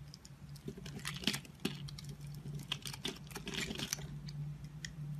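A utility-knife blade scores a hand-sized, solid multicolored block of dried bar soap into small cubes that crumble off into a pile. Crisp, dry scraping and cutting produce rapid bright clicks and crunchy crackles over a steady low hum.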